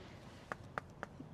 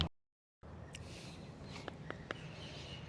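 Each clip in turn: First: Three quick, bright finger taps on a pomegranate, a firm near-metallic tick that marks the fruit as ripe. Second: A few quick, dry finger taps on a pomegranate still on the tree; the fruit is not ripe yet.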